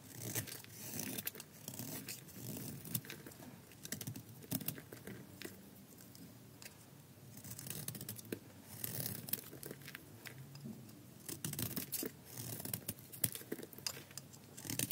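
A palm-sized solid red bar of dry soap, held in the hand, is scraped and shaved with a metal blade as flakes pile up. Quiet, dry scraping and crisp, crackly tearing come in repeated bursts of short clicks, with a softer lull near the middle.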